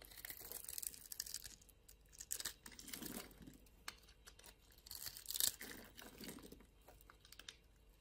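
A utility knife blade scrapes and shaves the surface of a small, solid, blue-and-white striped bar of soap held in the hand, cutting it into flakes. Soft, bright, crunchy scraping strokes rise and fade in uneven waves, with some duller, lower rasps between the sharper passes.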